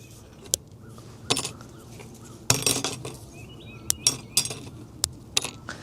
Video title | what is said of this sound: Wooden Easter Eggs Meet FIRE: Mineral Colors vs. Carbonization | it actually sounds like metal now when we break it. And actually, that's the sign that you have processed your biochar enough